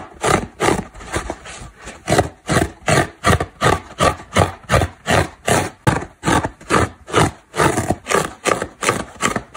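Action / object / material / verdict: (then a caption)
scrape / synthetic foam car sponge / foam / none. Long black nails scratch and dig along the edge of a dry, solid, porous orange synthetic foam car sponge. Quick, evenly paced rasping strokes repeat throughout, each a dry, scratchy burst spread from low to bright with short silences between.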